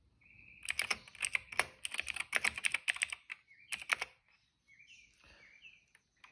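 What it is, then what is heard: Plastic mechanical keyboard. Fingertips of both hands type steadily on a retro-style cream plastic mechanical keyboard with dark and purple plastic keycaps and a hollow case, resting on a rug. Bright, clicky, hollow key taps come in quick uneven bursts with a ringing tone around 2 kHz. After about four seconds the typing stops, leaving faint, brief chirping tones.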